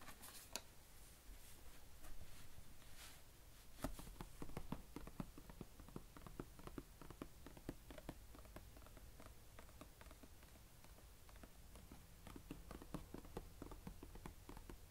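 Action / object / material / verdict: tap / plastic carry case lid / plastic / none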